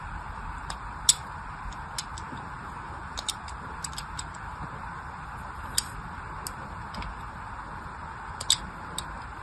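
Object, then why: Bar of soap scored with a thin knife blade. A thin craft knife blade scratches and scores lines across the surface of a solid orange soap bar held in the hand. About fifteen short, sharp, bright ticks and clicks are scattered irregularly over a steady, faint hiss and low rumble, each dying away almost instantly.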